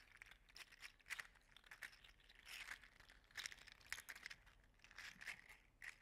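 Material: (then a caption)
Plastic. An orange and gold segmented, 3D-printed PLA articulated slug toy is squeezed and flexed by hand, making its plastic segments clack together. The result is quiet, bright, dry clicking and crinkling in uneven bursts, centered in the upper-mid range with almost no low end and no ringing.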